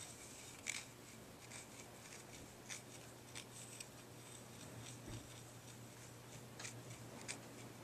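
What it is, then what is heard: Deer antler dog chew. A pale, solid deer antler dog chew is held in both hands while fingertips rub and scratch its rough surface. Soft, bright scratching rasps run over a steady low hum, with about seven short, sharper scrapes standing out from the quiet rubbing.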